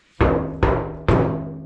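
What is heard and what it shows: Three knocks on a bare, uninsulated section of the steel roof panel of a 1961 VW Beetle with a 1965 pan, the spot left without the jute insulation that covers the rest of the roof. Each knock brings a low, booming, resonant ring centered around 133 Hz that carries on and overlaps the next hit. Without insulation, the bare panel resonates like an echo chamber.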